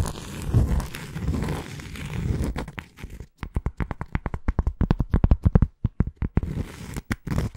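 Long nails scratch and tap the surface of a round, flat, solid cork coaster held in one hand. About three seconds of soft, low, rustling scratches give way to a rapid run of short, dry, dull taps with almost no ring. The sound is close and muffled, weighted toward the low end.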